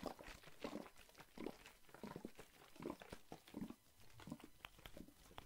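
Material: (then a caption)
Plastic. A plastic Listerine mouthwash bottle, partly full of green liquid, is held in one hand and shaken and tapped so the liquid sloshes inside. Muffled, wet sloshing bursts repeat at an uneven pace, mixed with short, sharp plastic taps and clicks that reach up into a bright high range.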